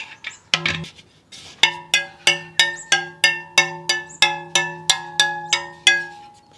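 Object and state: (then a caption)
High-tension carbon wheel spokes. A pen taps the carbon spokes of a Superteam all-carbon front wheel, one after another in a steady series. Each tap gives a short, bright, high-pitched ping with a brief ring. The high pitch indicates high spoke tension.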